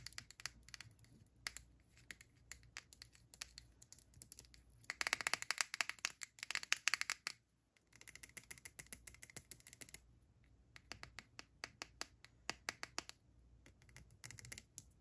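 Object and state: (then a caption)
Plastic skincare jar. Long black-painted nails tap and scratch the sides and white lid of a small round plastic skincare jar, partly filled with green scrub, held in both hands over a mannequin face. Quick, bright, dry clicks sound with almost no ring, broken by a dense burst of scratching in the middle. After a brief pause, sparser taps return.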